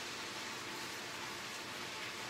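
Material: Nothing is struck.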